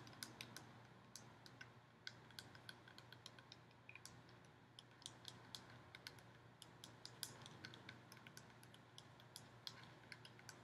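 Long nails tap and scratch a hollow, ribbed gold metal decorative pumpkin held close to the microphone. Dozens of quick, bright, dry clicks and ticks with almost no ring sound quietly over a steady low hum and faint scratching.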